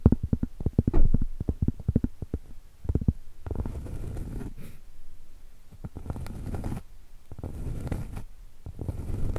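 Long stiletto acrylic nails tap quickly on a round, flat, solid cork trivet held horizontally, making soft, dull, low thuds that die away almost instantly. After the first few seconds, the taps give way to longer stretches of muffled, rustling scraping across the cork, broken by a few more taps.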